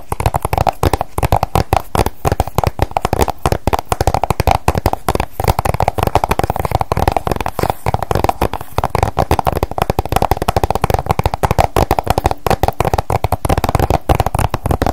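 Long acrylic nails tap and scratch fast across the front of a flat, hollow plastic PS3 game case with a printed cover under a clear sleeve. The result is a dense, continuous stream of sharp, dry clicks with a hollow plastic tone and no ring.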